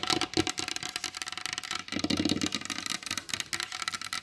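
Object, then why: Varnished wooden tabletop tapped with long acrylic nails. Long pointed blue acrylic nails tap rapidly on the surface of a large solid varnished wooden table. The result is a dense, continuous run of sharp, bright clicks, mostly high-pitched with little low end, each dying away almost instantly.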